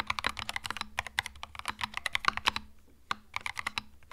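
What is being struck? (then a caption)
Plastic mechanical keyboard. Both hands type rapidly with their fingertips on a compact white-and-beige Epomaker TH66 mechanical keyboard fitted with plastic Mario retro keycaps, resting on a felt desk mat. A dense run of short, bright, clacky key presses with almost no ring is briefly interrupted by a pause near the three-second mark before the fast typing resumes.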